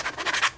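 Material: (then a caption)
Vinyl. A dbrand vinyl phone skin for a Galaxy Note 20 is tapped on its own, off the phone, showing that the plastic-like sound comes from the skin itself. Quick, dry, light taps with a scratchy, hollow plastic click sit mostly in the mid and high range and fade almost instantly.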